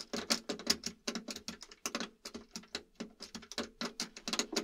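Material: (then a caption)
Plastic. Fingertips tap and press the fret buttons along the brown wood-look neck of a hollow plastic, guitar-shaped video game controller with a white body, held upright. About 26 short, dry, bright plastic clicks and taps follow each other in a quick, uneven patter, each dying away almost instantly with a faint hollow knock beneath.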